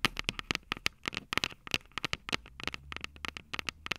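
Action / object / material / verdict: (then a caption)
tap / metal microphone capsules of a handheld recorder / metal / none. Long purple nails tap and scratch the metal microphone capsules of an upright Tascam DR-05 recorder. The result is a rapid, irregular run of sharp, bright clicks with almost no ring, and faint scratchy texture between the taps.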